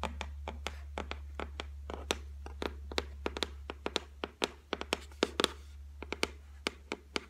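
Long white nails tap and scratch across the flat top of a solid white laminated shelf, making rapid, sharp clicks with bright, crisp edges that stop almost instantly. A steady low hum runs underneath throughout.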